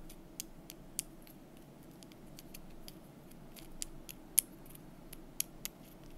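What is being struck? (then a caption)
Thin painted wooden calendar month strip. A thin, solid painted wooden month bar from a calendar is held in the fingers while long nails tap and scratch along it. Quiet, very short, bright clicks and ticks come scattered over a soft, steady low background hiss, with a few sharper taps standing out.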